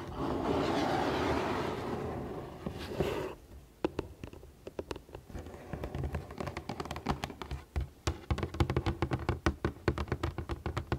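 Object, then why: Printed cardboard box. Long painted nails and fingertips work over a hollow, printed cardboard Lego box held upright. For the first few seconds they scratch its front with a steady, hissy rustle, then switch to many quick, irregular taps on the front and edges. The taps are short, dry, hollow knocks with little ring, mixed with bright nail clicks.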